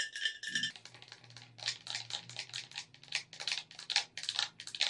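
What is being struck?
Plastic game controller.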